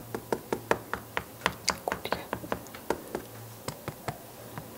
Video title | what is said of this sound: Wie alte Malertechniken eine Zimmerdecke retten - SWR Handwerkskunst | when it sounds hollow, you realize there's a hollow spot that I have to fill in